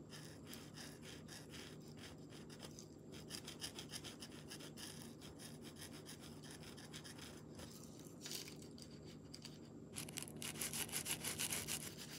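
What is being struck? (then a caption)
Marker tip on a smooth painted stone. A green marker tip is rubbed back and forth to color in a leaf shape on a smooth, palm-sized solid river stone painted white with a mandala, resting on bubble wrap. Quiet, rapid scratchy strokes with a bright, hissy edge continue steadily, then grow louder and more pronounced near the end.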